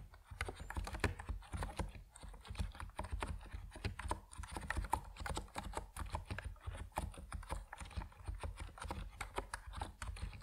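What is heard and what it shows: Fingertips type steadily on an Epomaker NiZ Plum Atom 68, a compact plastic mechanical keyboard with white and purple PBT keycaps. A dense, even stream of quick, dry keystroke clacks carries a deep, muffled thock. Each press dies away almost instantly.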